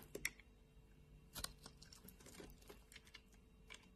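A solid white bar of soap, held in the hand, is scraped with a flat metal blade, and the flakes fall into the palm. The scraping comes as quiet, irregular, crisp clicks and brief bright rasps, with a couple of sharper cuts near the start and middle. There is a faint low hum underneath.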